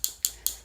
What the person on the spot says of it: you want to shake it up and if you hear that clicking noise it's actually a bead mixing up the color